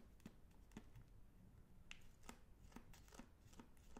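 Fingertips squeeze, rub and crinkle the glossy plastic film wrapper of a single sealed, full Magnum Double Chocolate ice cream bar, about hand length with twisted ends, first close to the ear and then in front of the face. Quiet, sharp crinkles and crackles with bright high edges repeat over a soft low rustle.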